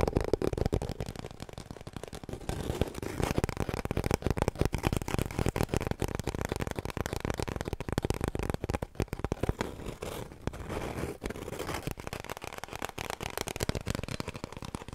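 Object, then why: Cardboard kitchen roll tube. Fingertips and long nails tap rapidly on an empty, hollow cardboard kitchen roll tube held horizontally. The taps come as a dense, continuous patter of short, dry knocks with a hollow, papery resonance centred low-mid, around 400 Hz, and no ring after each tap.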